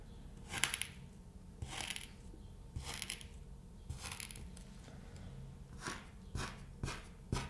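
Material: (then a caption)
Kinetic sand. A thin red stick pokes rows of holes into a flat, solid cut sheet of kinetic sand. Each poke gives a short, soft, crunchy crackle with a bright grainy edge that dies away almost at once, spaced out over a quiet, low background hum.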